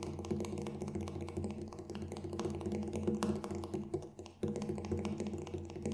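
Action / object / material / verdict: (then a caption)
tap / large frame drum with a synthetic head / synthetic membrane / none. Fingertips tap rapidly and lightly on the black synthetic head of a Remo Buffalo frame drum, a large hollow drum held in front of the face, striking near the rim. The soft, quick taps blend over a steady low, resonant drum tone. The tapping briefly dips to near silence around the four-second mark before picking back up.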